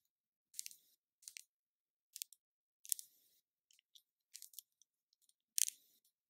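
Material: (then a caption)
Plastic. Long nails tap and scratch the body of a small cylindrical plastic spray bottle with a turquoise label, held in the hand. Quiet, crisp bursts of tapping and scratching come in short clusters separated by silence. The sound is entirely high and bright with no low end and stops dry after each burst.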